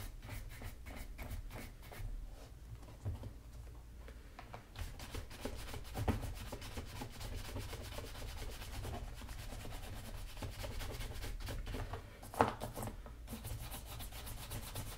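A wooden-backed horsehair brush is swept back and forth across the leather upper of a black leather Magnanni double monk strap shoe, fitted with a hollow wooden shoe tree and resting on a table. Quiet, rhythmic brushing rubs carry a soft, low-heavy bristle hiss with little bright content, with a sharper, louder stroke standing out near the end.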